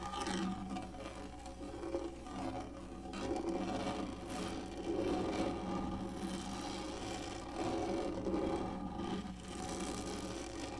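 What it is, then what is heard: Plastic lap tray being scratched. Long nails of both hands scratch and drag lightly across the top of a large, black, textured, hollow-molded plastic lap tray. The result is a continuous, gritty rasping with a hollow, slightly tonal resonance around 340 Hz and faint bright scratch edges. It swells and fades softly over a low steady hum.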